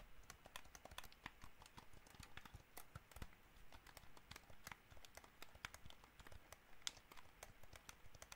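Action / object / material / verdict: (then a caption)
tap / plastic game controller / plastic / none. Fingertips tap rapidly and irregularly on the buttons and body of a hollow white plastic gamepad. The result is a quiet, steady stream of short, dry clicks with bright, hollow tops and no ring, over a faint low background.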